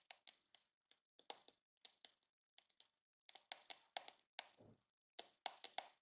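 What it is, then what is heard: Plastic hairbrush back. Fingertips and medium-length nails tap and scratch across the curved, glossy pink hard plastic back of a hollow-shelled, hand-sized detangling hairbrush held in the hand with its back facing up. Quiet, bright, clicky taps come in quick clusters separated by short silences, with a few brief scratchy drags. Each tap dies almost instantly, with no ring.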